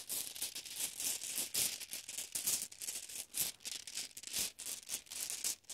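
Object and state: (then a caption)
Glass marbles shaken in a bag. Glass marbles are shaken and jostled inside a bag, producing a continuous bright rattling of quick clicks and clacks in uneven bursts, with almost no low end.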